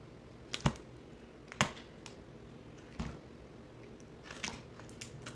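A box cutter blade slices and scrapes pieces off a solid green bar of soap held in the hand, sped up. Sharp, crisp cuts with a bright crackle and a soft low thud stand out from a quiet background, followed by lighter scraping ticks.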